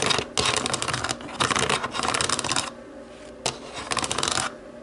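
Long nails tap and scratch the rubber buttons of a small, hollow black plastic remote control, held side-on. Dense bursts of bright, rapid clicking and scratching alternate with quieter pauses, and a sharp single click stands out midway through the second pause before the last burst.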